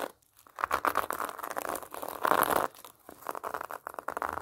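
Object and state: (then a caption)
Pomelo in plastic mesh net. Long nails scratch a large whole pomelo wrapped in orange plastic netting, raking across the net-covered rind. Dry, crinkly rasping comes in uneven bursts centred in the midrange, broken by brief quiet gaps and a louder stretch of scraping near the middle.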